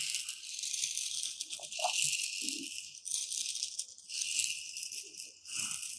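Two thin pointed metal rods are poked and stirred through a shallow tray of dry, uncooked white rice. The loose grains give a bright, continuous hissing rattle that swells and fades in waves, with faint soft taps underneath.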